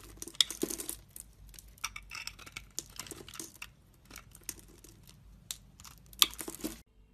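A solid pink bar soap, held in a hand with long red nails, is scored and shaved into thin strips with a utility knife blade. The quiet clip has a series of crisp, bright scraping and crackling cuts with sharp, brief transients. Between the cuts are softer, papery shaving rustles.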